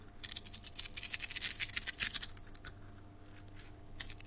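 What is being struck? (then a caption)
Plastic coil spring toy. A red translucent plastic slinky spring toy with a hollow coil is held between both hands with long nails and shaken, so the coils stretch, collapse and click together. Dense, bright, crisp clicks and rattles come in quick, irregular bursts for about 2.7 seconds. After a quieter gap, a short final burst follows near the end.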